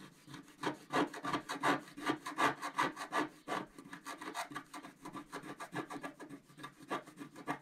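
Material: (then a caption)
Coated paper. A wooden stylus scratches vigorously back and forth across a flat black coated scratch-art card. The result is a fast, fairly regular run of dry, raspy strokes with a gritty mid-range tone. The strokes are louder and denser at first, then become lighter and quicker toward the end.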